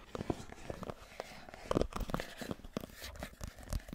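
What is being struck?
Cardboard phone box.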